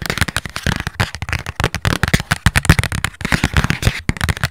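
A small, hollow, handheld cardboard gift box printed with a pink floral pattern is tapped and scratched with long nails. The result is a rapid, dense series of dry, crackling taps and scrapes with a hollow, low thump under them, each click dying away almost at once.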